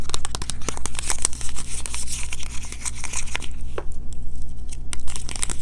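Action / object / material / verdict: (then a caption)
tap / small cardboard box / cardboard / none. Fingertips and medium-length painted nails rapidly tap and scratch the surface of a small, closed, green printed cardboard box of Kirk's Castile soap held in both hands. The result is a dense run of quick, dry taps and scratchy, crinkling bursts with bright edges, over a steady low hum.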